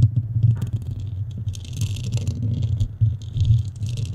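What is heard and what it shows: Long nails on both hands scratch and rub steadily across the dome of a black foam microphone cover. The result is a continuous, muffled low rumble centered around 110 Hz, with faint, bright scratchy rustling flickering above it.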